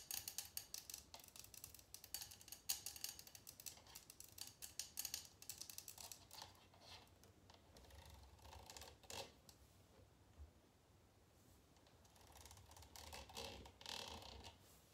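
A small clear glass jar holding red candle wax, standing on a table, is tapped with long nails and fingertips from both hands. Quick, bright, clicky taps come in dense rapid flurries for the first several seconds, then give way to softer, sparser tapping with a few louder bursts. Each tap dies away almost at once with little ring.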